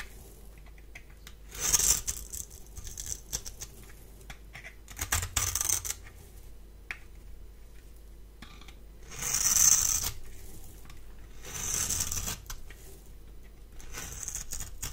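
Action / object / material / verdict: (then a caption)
scrape / bar of soap scraped with a metal blade / soap / none. A palm-sized, solid rectangular bar of dry white soap is held in one hand and scraped repeatedly with a metal blade. Each pass gives a bright, crisp, high-pitched scratching rasp, with quiet gaps between strokes.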